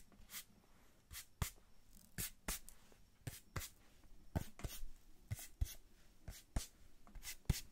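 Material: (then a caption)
Cardboard. A small brown kraft cardboard box held in the hands is tapped and scratched with long nails on its faces. Sixteen quick, dry taps each give a bright click over a soft low thump and die away almost at once, with faint scratching rustle in between.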